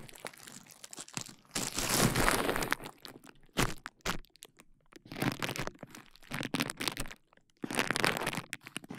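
A large sheet of clear plastic bubble wrap is draped over the mic while fingertips and nails pinch and pop the bubbles at its side. Bursts of crinkling, crunching plastic are broken by sharp, bright popping cracks, with the loudest flurries at about 1.5–3 seconds and 7.7–9 seconds and brief quiet gaps in between.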